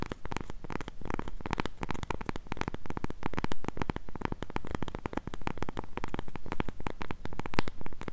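Long nails scratch and tap the flat face of a solid, round, palm-sized cork coaster held close to a mini mic. Dense, rapid scratching and tapping strokes run through the whole clip, with a deep, muffled low end and quick, dry decays.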